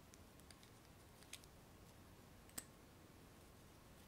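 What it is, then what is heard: Glass candle jar. Long nails tap and scratch the sides and rim of a small clear glass candle jar with no lid, filled with solid pink-purple wax. Faint, bright glassy ticks and soft scraping sit over a quiet low hiss, with two sharper, brief clicks standing out.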